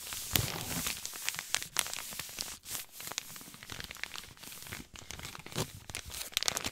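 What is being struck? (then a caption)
Paper compress pouch. A white paper compress pouch with blue print is crinkled and rubbed with fingertips. The result is a steady stream of bright, dry crackling and crinkling with sharp little snaps and a few brief quieter pauses. The sound has very little low end and short, clipped tails.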